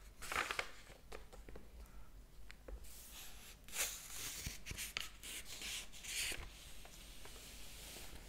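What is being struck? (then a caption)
Paper pages of a hardcover book. Fingers turn a page of a large open hardcover book and rub across its thin paper pages. Soft, bright papery rustles and swishes come in bursts, with a few sharper crinkling flicks over a quiet background.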